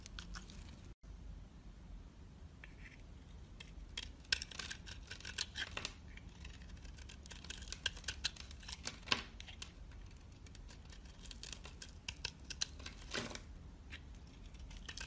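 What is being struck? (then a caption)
Bar of soap scored with a blade. A utility knife blade scores a hand-sized, solid black oval bar of soap with an embossed logo and shaves flakes off it. The result is a steady run of soft, bright scraping and crisp cutting sounds, with sharper clicks of the blade scattered throughout. A low, constant hum sits underneath, and there is a brief silent dropout near the start.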